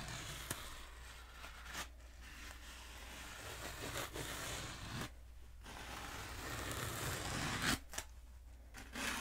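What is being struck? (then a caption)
Foam pool noodle. Long nails scratch and tap along a long black hollow foam pool noodle held diagonally. Soft, dry, broadband scratching runs throughout, broken by a few sharp taps and brief quiet gaps. A steady low hum sits underneath at a fairly quiet level.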